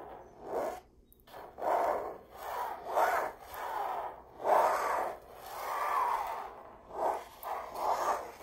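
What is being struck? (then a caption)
Stretched canvas print on a frame. Long acrylic nails and fingertips trace and scratch across a stretched canvas print of a red rose hanging on a wall, its fabric surface over a hollow frame. The clip is a series of soft, breathy rubbing and scraping strokes that swell and fade, centered in the midrange around 900 Hz with little low end.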